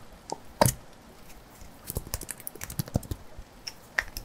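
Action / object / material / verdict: tap / small glass jar / glass / none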